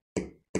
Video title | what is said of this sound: How to create a zen sand table part 1: Basic concepts | when I knock them you hear that it's making noise